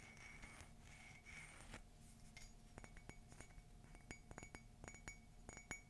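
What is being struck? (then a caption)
Ceramic coffee mug. Fingernails tap a hollow, empty black matte ceramic coffee mug with a white rim and a gold "Love is Magical" print. After a soft, hissy opening, a run of quick, light clinks follows, each with a brief bright ring around 2.2 kHz that fades almost at once.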